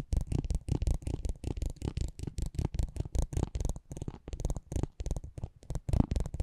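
A metal spiked pinwheel is rolled and scratched across the face of a small, thin cardboard racing trading card held in the hand. It makes a rapid, uneven run of dry, crackling ticks and scrapes in short bursts, with a heavy low thump under each pass and a bright, papery edge.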